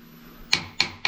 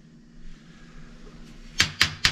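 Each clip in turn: First: Three quick, bright taps on a sewage downpipe, light and hollow-toned, showing this stretch of pipe runs empty. Second: Three quick, dead taps on a sewage downpipe with no ring, so the pipe is full of backed-up waste.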